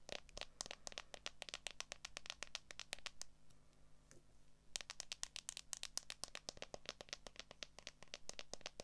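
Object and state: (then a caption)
Smartphone in a clear plastic case, tapped with long nails. Long acrylic nails tap and scratch rapidly on the back of a handheld smartphone in a solid, transparent plastic case, making a dense run of sharp, bright clicks over a faint low hum. The tapping pauses briefly in the middle, leaving only soft scratching, then resumes just as quickly.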